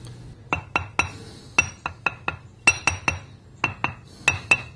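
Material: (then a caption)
Bonded abrasive. An abrasive grinding wheel with a crack is tapped repeatedly, giving short, dull clicks with a bright edge that stop almost at once. The sound is dead with no ring to it, which marks the wheel as cracked.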